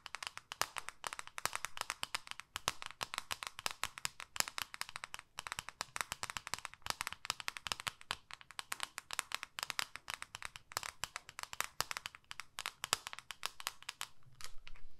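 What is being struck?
Plastic makeup compact tapped with fingernails.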